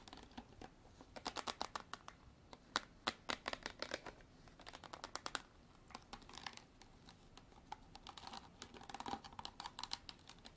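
Long artificial nails tap and scratch a hard plastic bottle for ASMR. Quick, crisp clicks come in irregular bursts, mixed with brief scratchy stretches. The sound is bright and dry, with little low end and almost no ring after each tap.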